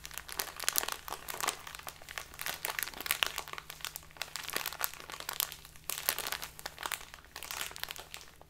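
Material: Plastic.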